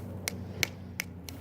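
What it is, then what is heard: Dry gourd shell. Four short, dry taps on a dried gourd shell produce crisp, bright clicks with almost no ring, set against a low background hum. The sharp, dead sound shows the shell is dry.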